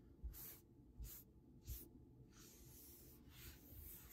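Both forearms in grey knit sweater sleeves, hands partly covered by the cuffs, rub back and forth across a large solid varnished wooden tabletop. Three distinct bright, hissing swishes each start with a soft low thump. These give way to a longer, quieter stretch of steady fabric scraping against the wood.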